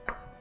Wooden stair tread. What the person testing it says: It's almost solid. It's like I'm knocking on concrete